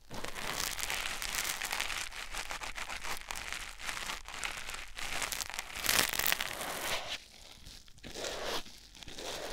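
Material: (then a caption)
Foam. A white rectangular foam sponge block, held in the fingertips, is rubbed against a silicone ear microphone. It makes a close, dense, bright crinkling and scratchy rustle that runs almost continuously, swelling louder near the middle and briefly dropping quieter in the last few seconds.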